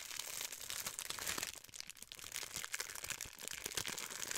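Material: Plastic.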